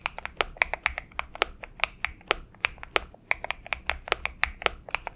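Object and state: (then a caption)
Mechanical keyboard with PBT keycaps. Fingertip typing with both hands on a purple Xinmeng M71 mechanical keyboard with PBT keycaps. A steady run of short, bright clicky keystrokes with a sharp tonal tick high in the mids, each dying away almost instantly over a faint low hum.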